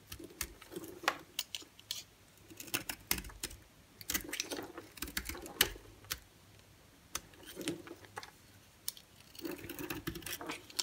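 A solid white bar of soap held in the palm is scraped and cut in short strokes with a utility-knife blade. The strokes make quick, dry, bright scraping and crisp slicing sounds in uneven bursts, with a soft mid-low rasp under the busier passages and brief quiet gaps between runs of strokes.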